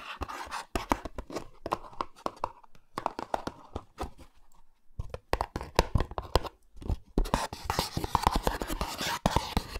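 Fingertips and nails scratch and tap the sides of a small printed cardboard Olay Retinol24 skincare box, probably with the cream jar inside, held close to the microphones. Quick, dry, papery taps and scratchy rubs come in uneven bursts with brief pauses. The scratching turns denser and brighter toward the end.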